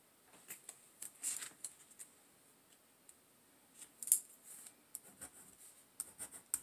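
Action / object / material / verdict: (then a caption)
scrape / pen on paper notebook page / paper / none. A pen writes the word "Handwriting" on the page of an open paper notebook lying on a table. It scratches steadily across the paper in quiet, bright, dry bursts of strokes with brief pauses between them.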